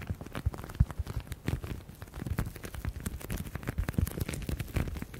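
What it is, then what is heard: Leather folder tapped and scratched. Fingertips and nails quickly tap and scratch a grained black leather folder held close to the microphones. The result is a dense, rapid run of short, dull, low thumps with faint scratchy rustling between them, each tap dying away almost instantly.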